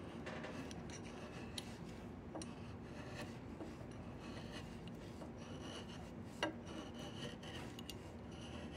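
A flat chisel scrapes repeatedly along a solid diamond willow walking stick, making a continuous low, rasping scrape with brief bright clicks as the blade catches the wood. The sound stays quiet and steady throughout, with one sharper tick near the end.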